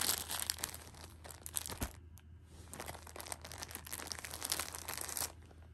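A hand-held Shopkins six-pack of pocket tissues in clear plastic film wrap is crinkled and pressed with fingertips and painted nails. Dense, bright crackling and crinkling fills the clip, with a brief quieter lull around the two-second mark. A faint, steady low hum sits underneath throughout.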